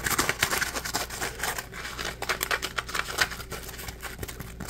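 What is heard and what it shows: A dry, palm-sized yellow Scrub Daddy polymer foam sponge, porous and solid, is held in both hands and scratched and squeezed with fingertips and nails. It makes a dense run of quick, bright, scratchy crackles and rasps that rise and fall in loudness. A faint steady low hum sits underneath.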